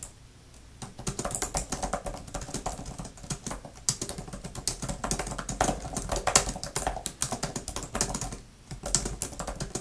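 Long-nailed fingertips type fast on a grey, thin plastic laptop keyboard cover with flat plastic keys, producing a dense run of sharp, bright clicks with a steady low rumble underneath. The clicks stop briefly near the start and again for a short pause before the end, and each tap dies away almost instantly.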